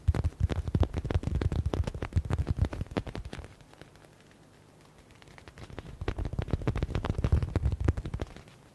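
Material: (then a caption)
Faux leather. Fingertips rapidly tap and scratch a hand-sized yellow stitched smiley stress ball with a faux leather cover. Quick, irregular, dull low thumps fill the first three seconds, fade to a near-silent pause, then build back into another fast burst of tapping before trailing off.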